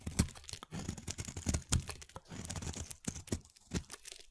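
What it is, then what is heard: Soap bar being carved. A hand-sized solid green soap bar, held in one hand, is carved with a snap-off utility knife blade, and thin shavings curl off onto a bed of soap shavings. The cutting and scraping make a steady run of dry, crunchy, tearing scrapes with sharp, quickly fading strokes. Each stroke has a bright crisp edge over a heavier low body.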